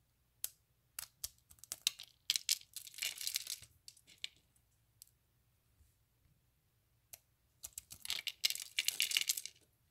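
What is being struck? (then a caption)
Curls of dried bar soap. Fingertips squeeze, snap and crush thin, hollow, ring-shaped curls of dried bar soap resting on a patterned mat. Sharp, bright, dry snaps and crackles come in two dense bursts of crunching, separated by a quiet stretch with a few isolated clicks.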